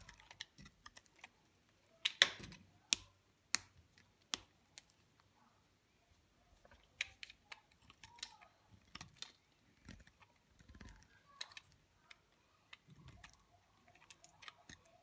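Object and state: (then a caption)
Dry bar soap being cut with a blade. A small, solid piece of dry green bar soap is held in the fingers over a pile of green and white soap shavings while a steel utility knife blade scrapes and cuts at its edge. Soft, crisp, bright crackling scrapes and clicks come in irregular bursts with brief pauses, each dying away almost instantly.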